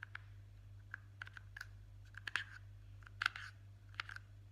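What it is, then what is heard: Plastic jar lid. The flat top of a blue plastic Nivea jar lid is tapped and scratched with a single fingertip and short nail, making about fourteen short, dry clicks and scrapes at an uneven pace. The bright, tight ticks center around 1.5 kHz with no ring, over a steady low hum.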